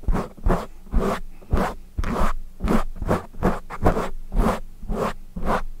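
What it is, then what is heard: Foam microphone windscreen being scratched. Fingertips of both hands scratch and rub a soft, porous, fist-sized dark foam windscreen mounted over a studio microphone. About 11 separate rasping, scratchy strokes come in a steady rhythm, each with a thick, close low rumble and a brief papery hiss that fades quickly.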